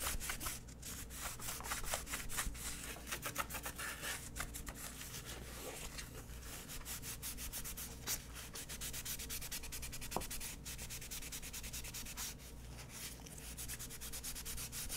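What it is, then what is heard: Plastic paint box lid being wiped. A gloved hand briskly rubs and wipes a grey cloth rag across the inside, top and edges of a palm-sized, mint-green hollow plastic paint box lid that appears empty. The result is steady, dense scratchy rubbing made of rapid strokes, with bright hiss and a low steady hum underneath.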